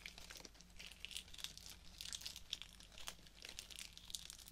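Fingertips and nails rub, crinkle and scratch the plastic leaves and fabric petals of a pink artificial rose bouquet with plastic stems. The result is a quiet, continuous stream of bright, crisp crinkles and short scratchy ticks, concentrated in the high range around 3.3 kHz. A faint steady low hum runs underneath.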